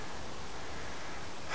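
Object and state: Nothing is struck.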